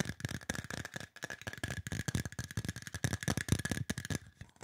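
Fingertips and nails tap quickly on a hollow, silver aluminum spray bottle. The result is a dense run of short, clicky taps with low, hollow thumps, brief rattly edges, and a faint steady ringing tone underneath.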